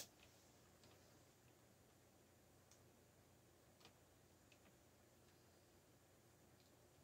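A few slow fingertip key presses on a backlit black plastic mechanical keyboard make faint, short, bright clicks that die away almost at once. The clicks are spaced apart over a steady, quiet low hiss.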